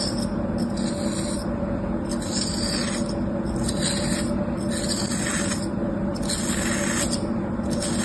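A thin metal tool slices and scrapes grooves into a molded slab of beige kinetic sand resting on a palm. Soft, gritty scraping strokes repeat with bright, hissy edges over a steady low background hum.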